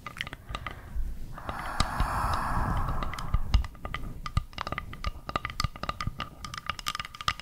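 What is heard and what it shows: Long nails tap and scratch along the grain of a round, flat, solid bamboo board held close to the microphone. Quick, dry taps with a low thump are broken up by a steady scraping rasp in the middle of the clip. After that, the taps carry on in an uneven patter.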